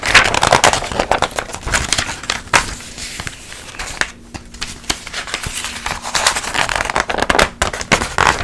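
A large glossy paper trade magazine is held open in the air while its pages are turned and flicked by hand, with long acrylic nails brushing across the pages. Crisp, bright paper crackles and swishes come in quick bursts, easing to softer rustling in the middle before picking up again. A faint steady low hum sits underneath.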